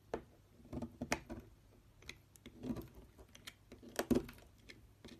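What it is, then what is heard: Bar soap being carved. A solid oval purple Dalan soap bar, held by fingers on a dark table, is carved with a metal knife blade, and shavings fall off as it cuts and scrapes. Quiet, soft scraping strokes alternate with sharper, crisp cuts in short bursts that stop quickly, with little echo.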